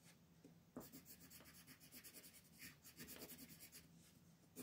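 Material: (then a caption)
Paper. A teal colored pencil rubs and scratches over a thin mandala paper sheet on a wooden table while filling in leaves. The quiet, bright, papery scratching comes in rapid back-and-forth strokes, with sharper accents near the start and end.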